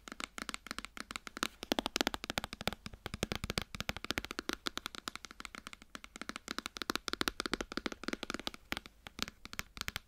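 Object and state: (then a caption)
Cardboard box tapped with nails. Long nails tap and scratch the side panels of a white cardboard iPhone box held upright. The result is a fast, continuous stream of crisp, dry clicks and scrapes with a bright, papery edge. Each tap dies away almost instantly.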